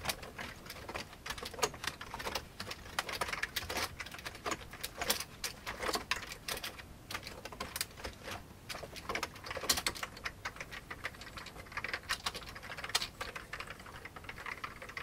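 Fingertips of both hands type fast on the keys of an old beige plastic computer keyboard. A dense, steady stream of short, bright plastic clicks and clacks continues throughout, each tap dying away almost instantly, with little low-end weight.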